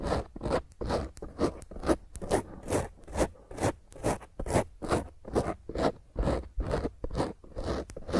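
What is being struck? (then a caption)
Foam microphone windscreen. A black foam microphone windscreen, gripped in both hands, is scratched and squeezed aggressively with long nails. The result is a steady run of rough, crackling scratch bursts, about two per second, with a muffled low thump and a bright hiss at the top of each stroke.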